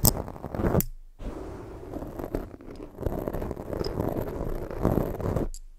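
Fingers rub a black foam microphone windscreen while long fake nails scratch at it, giving close, muffled, low-heavy rustling and scraping. Brief louder bursts mark the start and middle of the clip, with quiet gaps between them.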